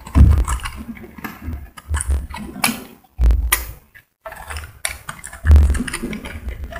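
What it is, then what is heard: Soap bar being shaved. A solid pink soap bar held in the hand is shaved with a metal utility blade, and flakes fall onto a white surface. A run of short, dull scraping strokes with a low, thumpy body is heard, broken by a brief pause near the middle before the shaving resumes.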